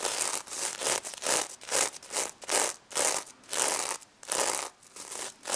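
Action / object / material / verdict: scrape / plush toy covered in plastic sequins / plastic sequins / none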